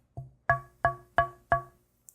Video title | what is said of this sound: KIM WALKER 03 - Tap Tone Wood | You can hear that there's very little sustain in ebony. It has a a high pitched attack